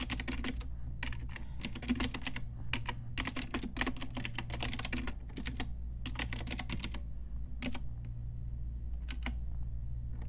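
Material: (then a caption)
Plastic. Fingertips and long nails type on an Ajazz pink retro typewriter-style plastic mechanical keyboard with round plastic keycaps. Quick, bright clicky keystrokes come in rapid flurries separated by short pauses, over a steady low hum.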